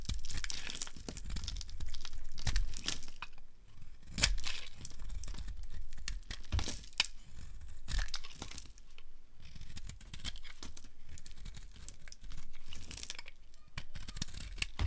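A metal blade slices and scrapes thin curls off a solid, hand-sized, bright yellow rounded rectangular bar of dry soap held in the palm. Continuous dry crackling, tearing and crinkling fill the clip, broken by sharper crunchy scrapes with a low thumping undertone. The curls crackle off the bar in an irregular run of quick strokes.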